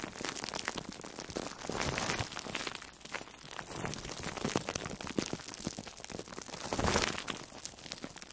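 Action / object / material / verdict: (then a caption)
scrape / foam sponge wrapped in plastic cling film / foam, plastic film / none. An orange-slice-shaped foam sponge, soft and porous and wrapped in plastic food wrap, is squeezed and rubbed with long nails and fingertips. This makes a dense, steady crinkling and crackling with quick rain-like ticks. The sound swells louder around the second and seventh seconds.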